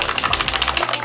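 A bottle of Clinique Fit workout liquid foundation, SPF 40, is shaken hard before use. It makes a fast, even run of bright, clicking rattles that carry on steadily for about a second.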